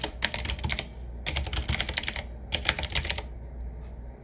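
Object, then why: Mechanical keyboard with round plastic keycaps. Fingertips of both hands type on a 7Keys retro typewriter-style mechanical keyboard with round black plastic keycaps on a wood-trimmed frame. Three quick bursts of bright, sharp clicks and clacks arrive with short pauses between them, each keystroke dying away almost instantly. A steady low hum sits underneath.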